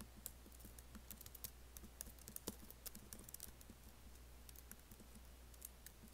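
Fingertips type fast and lightly on the black plastic keys of a MacBook laptop keyboard set in an aluminum body. Quick, soft, bright clicks patter irregularly over a steady low hum, each tap dying away almost instantly.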